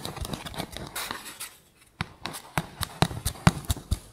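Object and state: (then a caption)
Cardboard tube. An empty, hollow brown cardboard toilet paper tube lying on a fluffy mat is tapped with fingertips and short pink nails. A dense run of soft, scratchy tapping gives way to a brief silence. Then come sharper, separated taps with dull low thuds, bright clicky edges and almost no ring.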